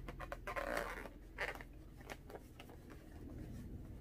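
A small, hollow, air-filled blue latex balloon is held in both hands and tapped and scratched with long orange-painted nails. Quick, soft taps mix with squeaky, rubbery scratching, the loudest bursts coming early, over a steady low hum.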